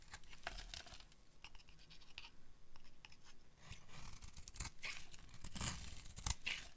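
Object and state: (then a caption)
Dry soap bar being carved. A solid, dark green oval bar of dry soap is held in the hand and carved with a metal utility blade, scraping off shavings. Repeated dry scraping and crisp crunching cuts come in quick bursts with bright, high hiss, while short low thumps sit beneath.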